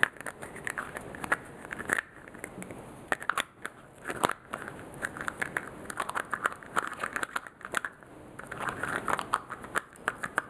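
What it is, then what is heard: Plastic bottle cap tapped with fingernails. A small white plastic lotion bottle with a clear plastic cap is held close as fingers and nails tap and click on the lid. Dense, rapid, sharp clicks and taps come in irregular bursts, each decaying almost instantly. Faint crinkly plastic handling fills the gaps.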